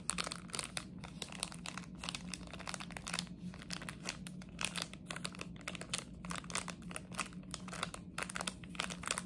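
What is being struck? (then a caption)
Plastic sweet wrapper. A plastic chocolate frog wrapper is squeezed, crinkled and scratched with long nails, giving dense, bright crackling and scratchy rustles. A low steady hum runs underneath throughout.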